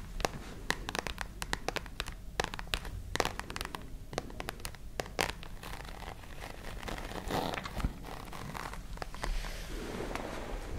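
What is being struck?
Fabric-covered hard-shell case.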